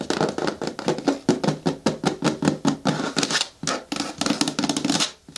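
Long nails tap rapidly and unevenly on the sides of a hollow, medium-hard green plastic bin with a lid. Each tap gives a short, dry, hollow knock with a mid-low body and a bright clicky edge, and brief scraping passes blend in between the taps.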